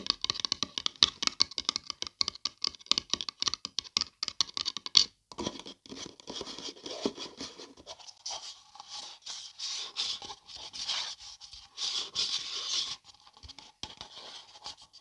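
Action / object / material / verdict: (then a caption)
scrape / paper coffee cup / paper / none. Long nails scratch the outer wall and rim of a hollow printed paper coffee cup held in both hands. The first five seconds bring quick, crisp ticking scratches, which then ease into softer, airy scraping strokes. The sound stays bright and dry, with almost no low end.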